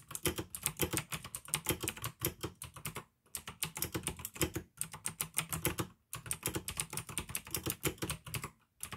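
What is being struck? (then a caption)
Plastic mechanical keyboard keys. Fingertips type steadily on a pink AUKEY plastic mechanical gaming keyboard with blue switches, producing rapid, crisp clicky keystrokes with a low plastic thock beneath each press. The typing comes in bursts, with brief pauses around the three- and six-second marks, and each click dies away almost instantly.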